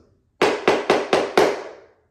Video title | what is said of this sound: Ceramic Tile To Vinyl Plank Flooring - Updating Our Laundry Room | you hear that one how it kind of sounds Hollow